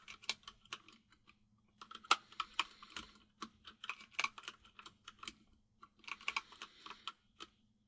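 Fingertips of both hands type on a full-size mechanical keyboard with white and grey plastic keycaps, producing crisp, bright clacking keystrokes in quick bursts separated by brief pauses. Each click is sharp and dry with almost no ring, over a faint steady low hum.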